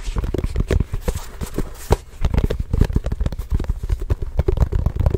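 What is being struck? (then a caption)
Leather basketball. A full-size orange signed Spalding basketball, leather or composite, hollow and inflated, is tapped rapidly with the fingertips of both hands, then lifted and held up. The taps are dull, low, hollow thumps around 105 Hz with very short decay and almost no high-frequency content, running in a steady, uneven patter for about five seconds.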